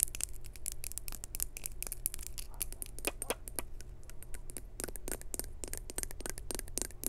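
Long acrylic nails tap and scratch a small hollow maroon glazed ceramic jar with a textured weave pattern and a lid with a knob. The result is a quiet, rapid stream of short, bright clicks and scratchy scrapes that stop instantly without ringing, over a steady low hum.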